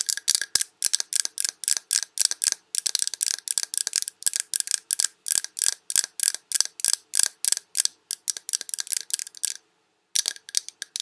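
Long red nails tap rapidly around a large glass Yankee Candle jar with a paper label, full of wax. About 44 short, bright clicking taps ring high with almost no low end, and there is a brief pause near the 10-second mark before the tapping resumes.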